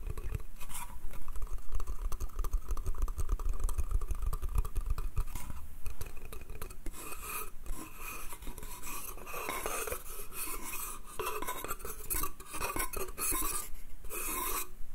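Fingertips and nails tap and scratch along the slats of a small, empty, hollow wooden bath crate with slatted sides. The result is a rapid, irregular run of dull, low, hollow knocks mixed with bright, dry scratching. Each tap dies away almost at once.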